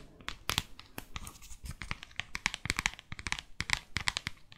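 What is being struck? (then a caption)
Paperback book with glossy cover. Long fake nails tap and scratch the glossy front cover of a small, thick, solid paperback guidebook to New York. A rapid, uneven series of sharp, bright clicks is heard, mixed with dry, high scratching and crinkly rustles, each tap dying away almost at once.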